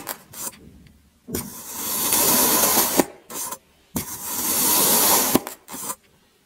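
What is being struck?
Kinetic sand block cut with a serrated metal blade.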